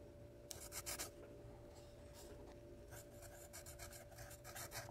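A yellow wooden graphite pencil held in the hand writes across the page of a small lined paper spiral notepad with a red cover, lying flat on a wooden table. Quick bursts of bright, dry scratching come in uneven strokes of pencil on paper, over a steady low hum and a faint constant tone.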